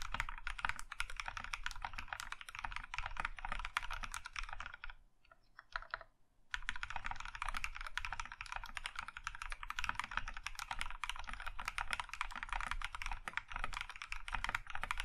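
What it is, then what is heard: Mechanical keyboard being typed on. A compact Iron165 mechanical keyboard with a plum-red aluminum case and white keycaps is typed on with the fingertips of both hands. A steady stream of fast, bright, clicky keystrokes with a low thump underneath breaks off briefly at around five seconds, then resumes just as densely to the end.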